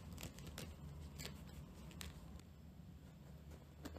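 Long nails scratch across the rough, fibrous surface of a round, flat, dry natural loofah pad about palm-to-hand size, held in both hands. The porous fibers give bright, dry scratching and crackling strokes in uneven bursts over a steady low rumble.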